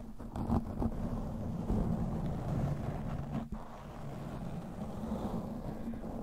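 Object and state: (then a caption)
Foam microphone windscreen being scratched. Fingertips with short teal-painted nails on both hands scratch and rub a soft, fist-sized black foam windscreen fitted over the head of a round microphone, working both sides like a scalp massage. The result is a dense, muffled rumbling rustle, heavy in the lows with a steady low hum and almost nothing bright, briefly dropping off about halfway through before continuing.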